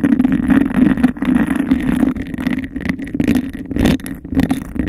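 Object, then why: Textured glass cup held over a microphone. Long nails rapidly tap and scratch a clear, bubble-textured glass cup that sits hollow and empty over the mic. The result is a dense, continuous hollow rattle with a steady resonant tone around 250 Hz and a faint brighter scrape above.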